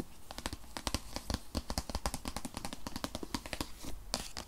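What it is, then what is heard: Cardboard product box tapped with nails. Long nails rapidly tap and scratch on a rigid white paperboard iPad box, a tablet-sized product box that holds the iPad. Dense, crisp clicks with short bright scratches over a low, hollow body, with no ring after each tap.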